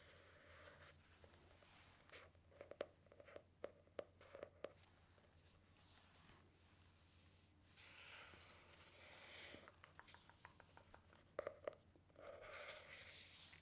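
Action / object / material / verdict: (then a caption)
tap / hardcover book with cardboard cover / cardboard / none. Fingertips and long nails tap and scratch the cover and edges of a medium, solid hardcover storybook with a printed paper-covered cardboard cover, held in both hands. Quiet clusters of sharp, dry taps come in bursts with softer scratching and rustling between them, over a steady low hum.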